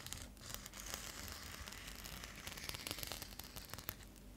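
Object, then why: Metallic foil bubble mailer. Long nails scratch along the textured surface of a metallic foil bubble insulated mailer held upright. The result is a quiet, continuous crinkly scratching with a bright, hissy texture and many small sharp ticks throughout.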